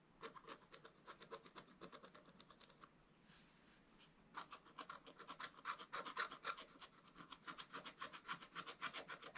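A wooden stick scrapes a wax-coated scratch-art paper page, first held at an angle and then upright. Rapid, fairly regular bright scratching strokes come at about three to four per second, with a brief softer hissing pause in the middle. The strokes then return louder and sharper.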